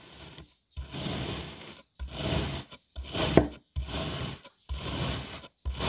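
A serrated knife cross-cuts a solid dark blue kinetic sand puzzle block that has been sliced into strips. Each stroke makes a gritty, rasping scrape with a bright hiss and a soft low rumble. The strokes come in a steady series, separated by short silences.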